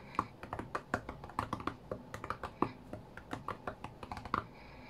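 Fingertips of both hands tap rapidly on the glass touchscreen of a flat white iPad, as if playing a rhythm game. About two dozen short, dry, quiet clicks are heard in uneven rhythm, with a midrange knock and almost no ring after each tap.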